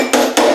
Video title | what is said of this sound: Triumph Spitfire Restoration - Door Body Work | you don't really hear the metal